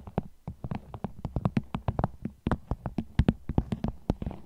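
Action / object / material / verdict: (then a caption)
tap / vinyl bag / vinyl / none. Fingernails tap on a vinyl bag in a quick, uneven run of sharp, dry clicks that die away almost instantly. Each tap has a soft low thump beneath a bright crackly edge. The taps come in loose clusters with short pauses between them.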